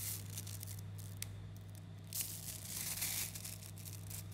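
Fingers pull apart chains of a mass of about 11,000 3mm neodymium magnetic balls, small coated metal spheres, then knead them into a lump. The balls make a dense, bright crackle of tiny clicks against each other, growing louder around the middle and again near the three-second mark, over a steady low hum.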